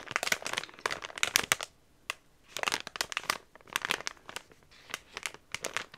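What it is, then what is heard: Plastic product bag. A medium yellow Swiffer Dusters plastic package filled with soft refills is crinkled and tapped with fingers and nails. Bright, crackly crinkling comes in bursts of quick sharp clicks, with short quiet pauses between them. There is almost no low end.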